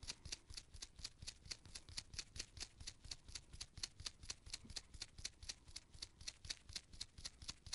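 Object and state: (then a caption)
Paint brush bristles being rubbed. Purple nitrile-gloved fingertips pinch and rub the pale bristle tip of a small artist's paint brush with a gold ferrule and red wooden handle. The result is a quiet, steady stream of about 38 short, crisp, bright bristle scratches, each stopping almost instantly, at roughly two per second with a soft low rumble underneath.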